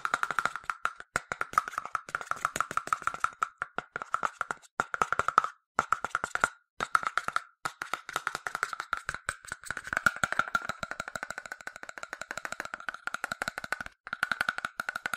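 A yellow hollow plastic sunscreen spray bottle, about 20 cm long with liquid inside, is held in one hand and tapped fast with its own translucent plastic cap and fingertips. The result is rapid streams of short, dry, hollow clicks with a steady tone around 1.3 kHz that die away almost instantly. A few brief pauses break up the tapping.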